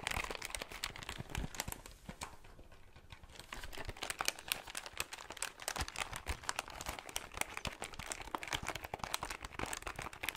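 Fingertips press and tap the plastic keys of a hollow plastic desktop calculator, including M+, M- and the number keys. A rapid, dense stream of sharp, bright clicks and crinkly taps sounds close up, each dying away almost instantly, with a brief quieter stretch near the start.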